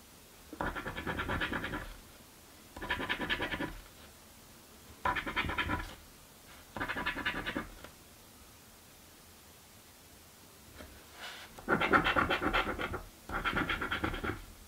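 A coin held in the fingers scratches a thin, flat cardboard crossword scratch-off lottery ticket resting on a wooden table. Six bursts of fast, gritty, rasping strokes are separated by short quiet pauses, with two faint brief scrapes before the last two bursts. The final two bursts are the loudest.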